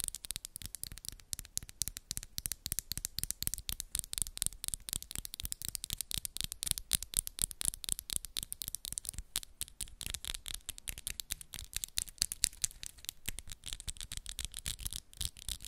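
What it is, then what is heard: Acrylic nails tapping together. Long pink acrylic press-on nails with black moon designs tap against each other rapidly as the fingers are interlaced. A fast, steady stream of sharp, dry, bright clicks continues for about 16 seconds, each click stopping instantly with no ring.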